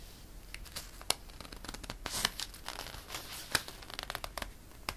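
Fingers grasp and flip a page of a glossy paper catalog, then fingertips rub across the paper. The result is bright, crisp crinkling and scratchy rustling, with a few sharp paper snaps standing out from the quieter rubbing.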